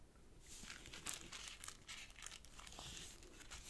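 A small folded sheet of purple origami paper rests on a black cloth table while fingertips crease and press its folds. Soft, bright crinkling and crisp rustling come in quick overlapping bursts, with a sharper crackle around the one-second mark, all at a low, close level.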